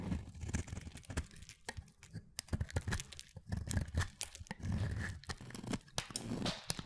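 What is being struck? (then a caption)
Solid soap bar. A hand-sized bar of pale mint solid soap is cut and scraped with a utility knife blade, shaving it into flaky curls. Dense, crisp crunching and tearing scrapes come in quick bursts, with sharp bright clicks over a soft, low, muffled body.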